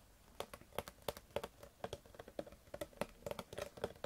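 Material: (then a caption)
Plastic. Long fingernails tap the ribbed side of a clear PET Bezoya water bottle, held upright and partly full of water. A quick, irregular run of crisp plastic clicks follows, each with a short hollow ring near 580 Hz and a bright tick on top. The taps are quiet and die away almost instantly.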